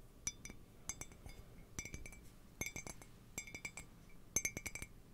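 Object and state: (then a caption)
Ceramic mug, empty. Fingernails tap on the body and base of an empty, hollow white ceramic mug with a handle, held in both hands. The taps come in quick clusters of bright, high clinks that die away almost at once, over a faint low background hum.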